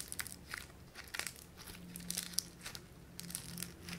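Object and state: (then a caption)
Foam bead clay (floam) being squeezed. A small, solid lump of light blue foam-bead clay (floam) is squeezed and crushed between fingers and thumbs. It makes a run of irregular, bright crackles and crisp crunching pops over a faint, steady low hum.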